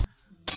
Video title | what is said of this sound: Napatunog din Ng maganda | hindi gano pero bingi pa rin talaga